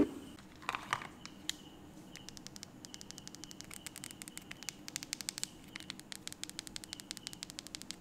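A small blue plastic feature phone with a rubbery beige keypad is held in one hand while fingertips and a thumb quickly press and tap its keys. A few louder, scattered clicks open the clip, then the taps speed up into a dense run of short, bright, dry clicks over a faint steady hiss.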